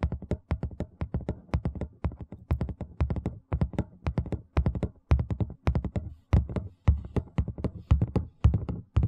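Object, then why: Thin plastic tray. A large, thin, empty white plastic tray is held edge-on close to the microphone and tapped and scratched along its rim with fingertips and nails. It makes rapid, uneven bursts of dull, deep thumps that die away quickly, with faint bright scratchy ticks over the top.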